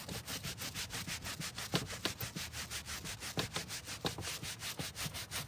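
A gloved hand vigorously scrubs a foamy dark grey carpet car floor mat on a table with a green-bristled hand brush. The result is a steady run of quick, bright, rasping bristle strokes, about three per second, with a few sharper scuffs standing out.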